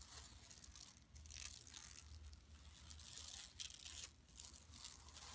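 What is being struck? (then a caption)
Woven plastic mesh shopping bag. Long nails scratch across the printed surface of a large, flat, empty yellow woven plastic mesh tote bag lying on carpet. The result is a bright, dry, rasping scratch that continues in waves, with brief lulls near 1 and 4 seconds.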